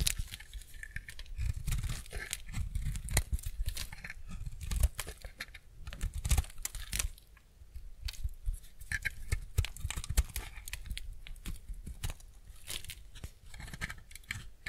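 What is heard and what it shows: A utility-knife blade scrapes and shaves thin slices from the surface of a solid, semi-dry white bar soap held in the hand. The result is a steady run of crisp, crackling scrapes with short bright peaks over a soft low-end rumble.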